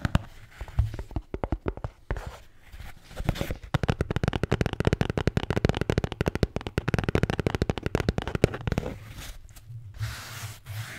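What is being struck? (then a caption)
Neoprene can cooler. Long painted fingernails tap and scratch a red neoprene Bintang beer can cooler (koozie), a hand-held, can-sized hollow cylinder with stitched edges, on both its printed logo and plain fabric side. Rapid, dull, low thuds come in dense runs with brief soft scratching pauses. They fade into quieter scratching toward the end.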